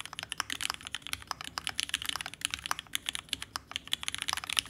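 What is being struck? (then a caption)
Mechanical keyboard, aluminum case with plastic keycaps. A red ergonomic TGR Alice-layout mechanical keyboard with vintage black switches, an aluminum case and plate, and pink and white plastic keycaps sits on a desk mat. It is typed on continuously with the fingertips of both hands. About 26 rapid, short, bright clacks are heard, centered near 2.9 kHz with almost no low end and no ring after each key press.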